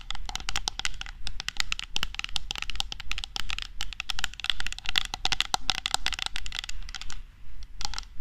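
A red, medium-sized metal aerosol can of shaving foam, held horizontally in front of the microphone, is tapped and scratched with long nails. Rapid, fairly steady clicks and scrapes with a bright, tinny ring follow one another over a constant low hum, with brief pauses near the end.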